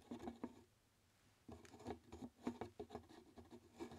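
A large, empty, hollow white translucent plastic jar labeled "RELAX" is held in the hands and tapped with fingertips and nails. About ten soft, irregular taps sound with a dull, hollow mid-low tone and almost no ring, and there is a quiet pause near the start before the tapping resumes more steadily.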